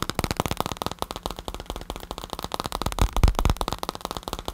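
A black padded bicycle saddle with a synthetic leather cover is tapped with fingertips and nails close to the recorder. Rapid, irregular taps produce soft, low thuds mixed with brighter clicks and a faint crackle. The taps grow slightly louder toward the middle and each dies away almost at once.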